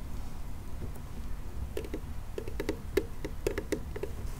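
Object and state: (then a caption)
Hollow plastic toy car. A hand-sized, hollow pink plastic toy monster car with purple wheels and a teal tuft is held in the hands and tapped and scratched with fingernails. Soft, hollow plastic taps ring out at a mid pitch over a low, rumbling background, with brief bright clicks at each tap. The taps come irregularly, and several louder ones stand out toward the end.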